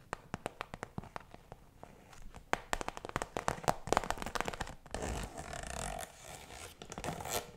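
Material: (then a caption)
Plastic. A round, iridescent holographic PVC zip pouch, hollow and apparently empty, is held close and tapped and scratched with fingertips and nails. Quick, crisp plastic taps come one after another, growing denser, then give way to a continuous bright scratching rustle in the second half before a few final taps.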